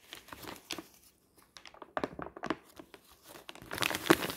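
A thin white newsprint advertising flyer with a pink "20% korting" print lies crumpled flat on a table, and hands lift it, crumple it and crinkle the same sheet. Dry, bright crackles and crinkles come in irregular bursts, each dying away almost at once, with a short silent gap near the start. The crinkling grows louder and denser toward the end.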